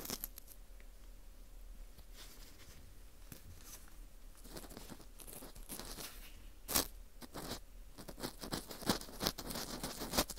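An orange plastic earpick scrapes inside and around the center hole of a dry, porous slice of dried wheat gluten fu ring. Soft, dry crackling scratches start quietly and grow busier after a few seconds, ending in sharper, louder crunchy scrapes with a bright, crinkly edge.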